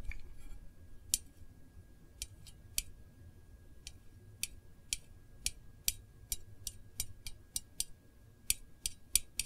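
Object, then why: Small metal candle tin lid. Long acrylic nails tap and scratch the rim and printed lid of a small, round, hollow, decorated metal Voluspa candle tin. About 19 sharp, bright clicks ring high and die out almost instantly, spaced irregularly over a low background rumble and a faint steady tone.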